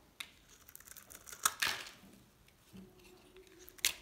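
A small knife scrapes across a hand-held solid green dried soap bar, cutting off flakes. Dry, bright rasps and crisp crackles stand out against quiet pauses, with the loudest scrapes near the middle and at the end.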